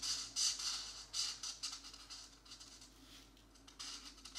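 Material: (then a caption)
Paper. A felt-tip marker scratches and rubs back and forth across a thin coloring book page held flat, filling in blue shapes. The quiet, bright, hissing strokes come in uneven bursts that fade into softer rubbing.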